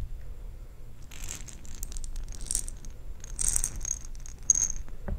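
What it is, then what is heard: Glass jar of perler beads. A glass jar holding plastic perler beads is handled and shaken. The beads give off bright, rattling, clinking bursts over a low background rumble, with sharp high glints near the end.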